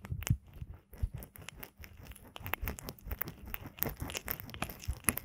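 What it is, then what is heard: Silicone ear microphone being rubbed. Fingertips and nails push into and rub the ear canals of a binaural microphone built as a pair of soft, solid silicone ear models glossy with lotion. The result is a continuous stream of close, wet rubbing and crinkling with short, dense clicks and crackles, heavy low-end thumps, and bright, sharp ticks throughout.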